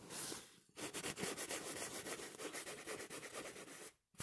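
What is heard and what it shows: Fingertips and short nails scratch and rub a small, soft, stuffed pillow in a smooth printed polyester-like cover, pink and blue with flowers and Portuguese text, close to the mic. A bright, hissy rub plays first, then after a brief gap a quick, steady run of dry scratching strokes continues until a short silence near the end.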